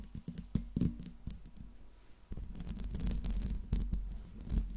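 Long pink nails tap and scratch the smooth metal body and grille ring of a silver Blue Yeti microphone. Quick, dull, bass-heavy taps with almost no ring mix with rough scratching bursts and a steady low rumble.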